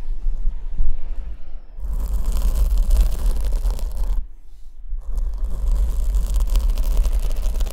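Long white-tipped acrylic nails scratch and rub a medium-sized, soft black foam windscreen covering a condenser microphone, held in one hand while a second microphone stands untouched beside it. The close contact produces a deep, rumbling low thumping with a bright, crackly scratch layered on top. The scratching starts softly, swells into a dense stretch, pauses briefly near the middle, then picks up again.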